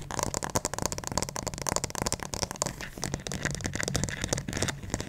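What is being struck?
Plastic acupuncture doll head.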